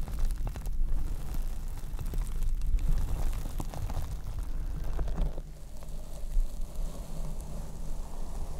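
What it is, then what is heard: Foam microphone windscreen scratched. Long red acrylic nails and fingertips scratch and rub a large, soft, hollow black open-cell foam windscreen over a Rode studio microphone. The result is a dense, continuous, muffled rumble of scratchy friction, heavy in the low end, with a brief dip partway through before the rubbing picks up again.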